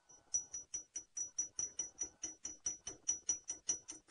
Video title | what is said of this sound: Pt 1 Safari Live's Sunrise Safari Drive at 5:30 AM on March 01, 2018 | a strange sound like metal on metal